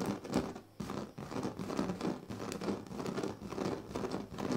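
Fingernails on both hands scratch across the strips of a large, flat woven plastic sleeping mat. The result is a steady, dense, crinkly scratching and rustling, mostly low and mid in tone, that briefly dips twice near the start before continuing to the end.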